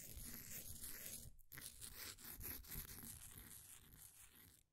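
A flat wooden popsicle stick scrapes the surface of a solid, green, ball-sized bath bomb of compressed powder sitting in a blue plastic ring holder. Dry, gritty scraping and crunching rasps run almost continuously, with a brief silent break near the 1.4-second mark. The sound then trails off quietly at the end.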